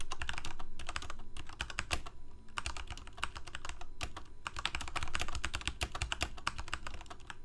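Fingertips of both hands type rapidly on a full-size black plastic Corsair mechanical keyboard with lit keycaps. Quick, irregular bursts of sharp, dry clacks come with short pauses, over a steady low hum underneath.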